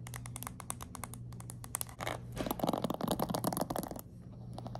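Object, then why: Plastic paddle hairbrush with pin bristles. Long nails scratch and flick through the ball-tipped pin bristles of a black plastic paddle hairbrush. Rapid, dry, bright clicks tick along steadily, build into a louder, denser scratchy rasp in the middle, then ease back to quick clicks over a faint low hum.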